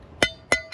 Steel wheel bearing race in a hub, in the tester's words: if you listen to this tinny sound, we're listening for that to change, right?